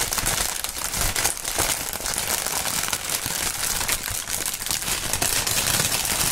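Fingertips crinkle and squeeze clear, printed polyethylene air-cushion film (plastic air pillow packaging film). The result is a steady, dense stream of bright, crisp crinkling and crackling with little low end, holding at an even level throughout.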